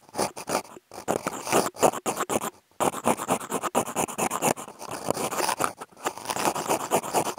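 Two wooden toothpicks with contact mics clipped on have their tips drawn across a large, thin, flat brown corrugated cardboard sheet. The result is a run of quick, dry scratching strokes with a papery midrange rasp. The strokes come in short bursts separated by brief silent gaps.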